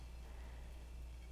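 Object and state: Nothing is struck.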